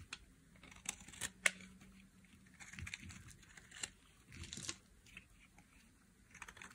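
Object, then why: Bar of soap carved with a metal blade. A metal blade carves and scrapes flakes off a solid, hand-sized red bar of dry soap. Quiet, bright, crisp scraping comes in short bursts, broken by sharp dry snaps that stop almost instantly with no ring.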